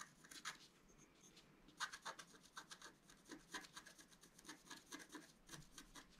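A wooden stylus scratches and rubs the coating off a flat, black-coated scratch art card, about A4 size, lying on a table. A quick series of short, dry, rasping strokes is heard, each a bright, high scratchy hiss with little low end. The strokes are separated by brief quiet gaps.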